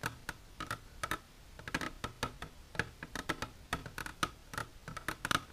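Long natural nails with silver polish tap continuously on a plastic container, making a quick, uneven run of short, dry clicking taps. Each tap is a bright, crisp click with a hollow mid tone around 1.4 kHz and almost no ring.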